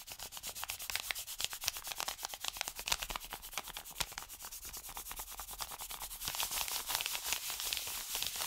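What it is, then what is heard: Paper mailer envelope. An open hand and fingertips rub fast over an Amazon kraft-paper padded mailer, making a quick run of dry, bright, hissing strokes. Around six seconds in, the mailer is folded and crinkled, and the sound turns louder and denser with crackly paper noise to the end.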